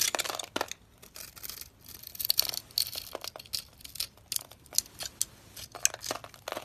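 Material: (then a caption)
Soap. A utility knife blade scrapes small cubes off a dusty, palm-sized, solid pink dry soap bar held in the hand, cutting along scored lines. Each pass gives a dry, bright, crumbly crunch with almost no low end. The quick crackling bursts come in an irregular series and stop sharply.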